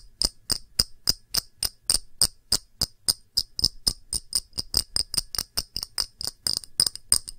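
A glass object is tapped with the fingers, giving a steady run of quick, bright clinks with sharp, high ringing tones and very short decay. The taps come about three to four per second at fairly even strength, with little low-end body.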